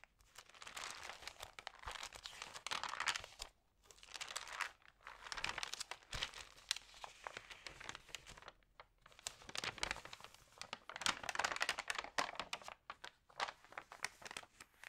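Fingers with long nails turn and press the glossy paper pages of an open Libelle magazine. Bursts of bright crinkling and crackling rustle swell and fade, separated by brief quiet pauses, with almost no low end.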